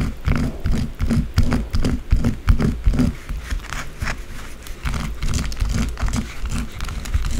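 Long blue acrylic nails scratch fast at a small solid white bar of soap resting on a dark table. The result is a rapid, somewhat uneven run of rough, dull scraping strokes, heavy in low rumble, with short, dry clicks and no ring after each stroke.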